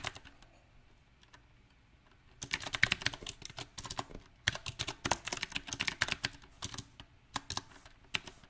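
Fingertips of both hands type on a small 68-key backlit mechanical keyboard with round typewriter-style plastic keycaps mounted on a silver metal plate. A few faint, scattered taps give way after about two seconds to dense, bright, sharp clacks in an uneven rhythm, each click dying away almost instantly.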